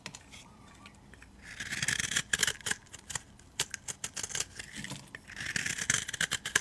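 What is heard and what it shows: A metal utility-knife blade scrapes and carves a palm-sized solid blue bar of soap held in the hand, shaving off flakes and scored strips. Bright, crisp rasping scrapes come in two dense bursts, separated by sharp dry clicks and ticks with almost no ring. There is a quiet, hushed pause at the start.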